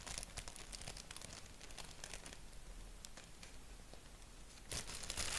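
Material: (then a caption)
Paper. Fingertips and nails scratch and tap a thin white paper sheet with a black doodle print, while an index finger taps single spots. The result is quiet, dry, bright ticks and scratchy crinkles with almost no ring. A louder, denser rustle swells near the end.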